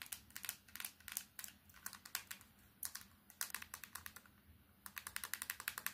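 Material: Plastic.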